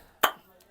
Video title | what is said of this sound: Construction Techniques of Roof Building in Pakistan - Roof Slab Formwork shuttering Accurately | आवाज से पता चलता है ईंट की क्या क्वालिटी है।